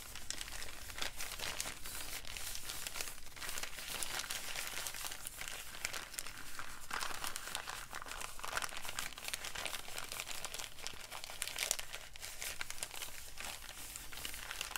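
An empty brown kraft paper bag is held in both hands and crumpled and crinkled with the fingers. It makes a steady, dense stream of dry, bright crackles and rustles for the whole clip over a faint low background rumble.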